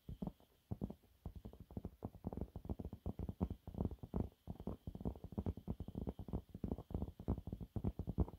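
Fingernails claw and scratch at a thin, flat, yellow textured cellulose sponge cloth. The result is a steady run of rapid, dry, muffled scraping bursts, mostly low and dull with almost no brightness, each stopping quickly with no ring.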